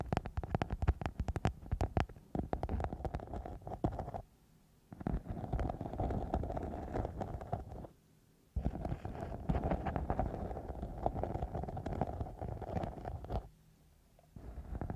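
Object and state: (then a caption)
Glitter foam sheet. A thin, flexible sparkly silver glitter foam sheet covering a microphone is scratched with long nails of both hands on both sides. The result is dense, crackly scratching, heavy in the low end with a band around 700 Hz. It comes in three bursts split by short near-silent pauses at about 4–5 and 8 seconds, and trails off near 14 seconds before resuming briefly.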